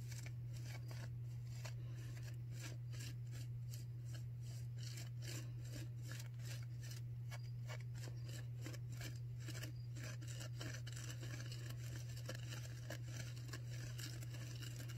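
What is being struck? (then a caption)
Non-woven disposable face mask. A white disposable non-woven paper surgical face mask, worn on the face, is crinkled and scratched with long nails up close. Quick, dry scratching and crinkling strokes rasp across a bright, papery band over a steady low hum. The sound stays quiet and even throughout.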